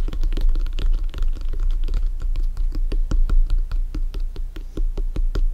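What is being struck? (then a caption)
Inflated synthetic leather soccer ball. A full-size inflated hollow soccer ball with stitched synthetic leather panels is held and tapped quickly on top with bare fingertips. The result is a rapid, uneven run of soft, dull taps with a low, deep hum underneath, each tap dying away almost at once and carrying a faint bright click.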